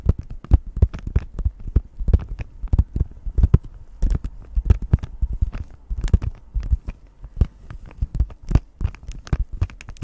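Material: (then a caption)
Cardboard. Long nails tap quickly on a plastic-wrapped cardboard cross-stitch kit, a flat printed card package. A rapid, uneven run of short, dry taps sounds mostly as low, dull thuds, with faint bright clicks on the louder hits. Each tap dies away almost instantly, with no ring.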